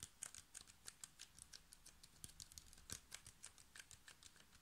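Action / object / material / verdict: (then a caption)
tap / plastic water bottle / plastic / none. Fingertips and nails tap quickly on a hand-sized, clear plastic water bottle with a blue cap and paper label, hollow and mostly empty, striking both the plastic and the cap. The result is a fast run of about 28 short, dry, bright clicks with almost no ring, over a faint low rumble.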